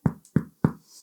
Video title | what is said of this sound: 5 min Brot ohne Gehzeit ohne Kneten und Geheimtrick | wenn man da drauf klopft und es klingt schön hohl, dann ist es durch